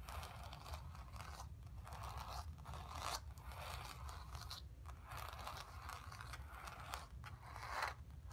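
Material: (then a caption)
Canvas. Long pink-painted nails scratch and tap across a square stretched canvas painted in acrylic with red, purple and orange blocks and black lines, lying flat on carpet with the taut fabric over a hollow frame. The result is a dry, crunchy rasping that comes in repeated strokes separated by short pauses, centered around 1.4 kHz with bright edges, over a constant low rumble.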